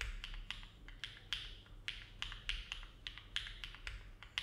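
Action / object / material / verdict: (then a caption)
tap / mechanical keyboard with plastic keycaps / plastic / none. Fingertips of both hands type steady key presses on a compact Neo70 mechanical keyboard with an aluminum case and plate, foam filling and hollow ABS plastic keycaps, resting on a desk mat. Each press gives a short, bright clack with a quick decay over a faint low hum.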